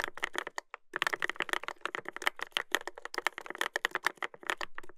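Fingertips type continuously on a Dolphin 2021 mechanical keyboard with a brass plate and plastic keycaps. The result is a rapid stream of short, sharp clacks with a bright, clicky tone and little low end, with a brief pause near the one-second mark.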